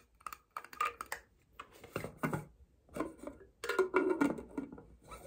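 Long painted nails tap and scratch a tall, clear, double-wall plastic Starbucks cold cup with a printed California design, a blue lid and a straw; the cup is hollow and appears empty. The result is a fast, uneven run of dry, hollow plastic clicks and scrapes that sit around 380 Hz and have bright edges and a short ring. The lid is opened at the end.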